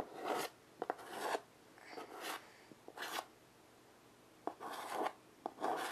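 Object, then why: Chalk on a wood-framed chalkboard. A child draws with white chalk in steady strokes on a small wood-framed chalkboard resting on carpet. Raspy, bright scratching bursts come one after another, separated by short quiet gaps and sharp little taps as the chalk meets the board.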